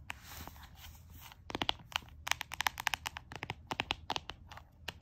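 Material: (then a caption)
Cardboard. Fingertips and nails tap and scratch the solid, leopard-print cardboard cover of a closed small notebook. About a second and a half of soft, hissy scratching leads into a quick run of sharp, crisp, dry taps that stop dead with no ring.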